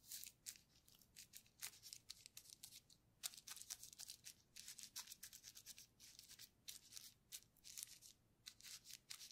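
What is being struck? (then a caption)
Plastic bubble wrap sheet brushed with a paintbrush. A flat paintbrush is stroked and dabbed across a flat sheet of clear plastic bubble wrap with air-filled bubbles lying on a table, while a gloved hand holds the sheet. The result is a quiet run of short, bright, bristly scratches and swishes that stop almost instantly, with almost nothing in the low end.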